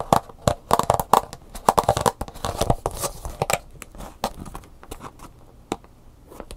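A clear plastic clamshell blister package, hollow and lightweight, with a cardboard backing card and an Angry Birds USB flash drive inside, is tapped and scratched with long natural fingernails while being turned in the hands. Quick, crisp plastic clicks with a hollow midrange tone around 880 Hz come in dense bursts, mixed with dry scratching and crinkling. After about four seconds the taps thin out and grow softer, leaving quieter scratches and occasional sharp clicks.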